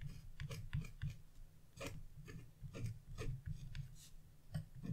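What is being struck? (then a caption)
Scratch-art coated paper sheet. A wood-handled chisel scratches small marks near the edge of a black-coated scratch-off paper page lying on a table. A series of short, dry, raspy scrapes with bright crackly edges sounds over a steady low hum, each stroke dying away quickly.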